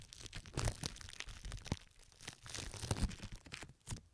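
Long red fingernails on both hands scratch and squeeze pink plastic film wrapped over both ears of a microphone. The result is a dense run of close, crinkling, crackling and tearing-like rustles with sharp bright clicks and low, rumbly thumps, swelling and fading over a few seconds.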